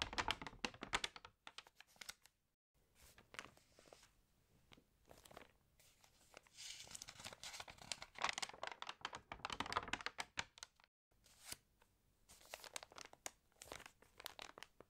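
Long nails scratch and tap the pages of an open, water-damaged glossy home magazine, and the pages are turned and crinkled. Dense, bright, crisp crackles and quick taps come in bursts, with short near-silent pauses between them and almost no low end.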